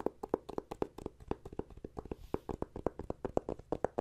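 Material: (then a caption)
Plastic. Fingertips and nails tap and scratch a closed red plastic e-reader cover, flat and thin, resting on a wooden table. About 27 short, dry clicks and taps arrive in an irregular stream, with a hollow tone around 470 Hz and almost no ring after each hit.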